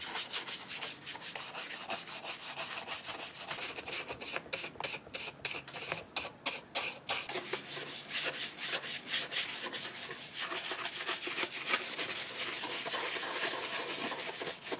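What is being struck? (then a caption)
Cordovan leather boot upper. A small round bristle brush is rubbed quickly over the burgundy cordovan leather upper of an Alden chukka boot to work in cream. The strokes make a steady, dry, scratchy swishing that is bright and hissy with almost no low end, in rapid, uneven back-and-forth passes of about three per second.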